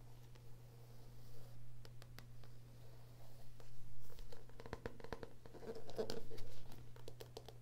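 A small paperback book, 'Heart Thoughts', with a solid stack of pages and a glossy card cover, is held in one hand while the fingertips and medium-length nails of the other hand scratch and tap across the front cover. The result is a quick, irregular run of short, dry clicks and soft scratches over a steady low hum, with sharper taps clustering toward the end. At the end the same book is tilted to show its spine.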